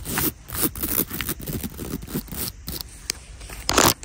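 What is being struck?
Beaded clutch bag.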